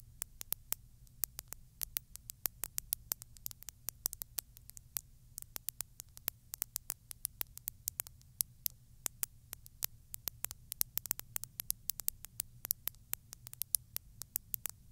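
Long glittery stiletto nails tap and scratch the sides of a small textured glass bottle with a narrow neck, filled with small translucent beads and standing on a fluffy surface. About 86 quick, dry, bright ticks sound irregularly and die away almost instantly. Beneath them runs a faint, steady low rumble, and the whole clip stays quiet.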